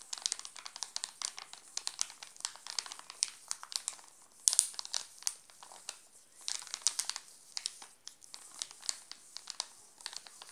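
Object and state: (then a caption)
Plastic chocolate bar wrapper crinkled. A hand crinkles and rubs the glossy plastic wrapper of a sealed, full Alpino chocolate bar. Dense, bright crackles and rustles fill the clip with almost no low end, and a louder burst of crinkling comes around the middle before the irregular crackling continues to the end.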